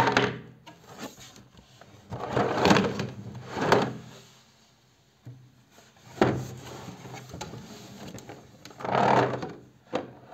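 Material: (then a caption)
Cardboard. A medium-sized hollow cardboard storage box with a lid, printed white with a cartoon bear pattern and partly colored with markers, is held closed in both hands and turned. Fingertips tap and rub its sides and lid, giving soft, dull scratching and thumping sounds. These swell in several louder bursts amid quieter rustling.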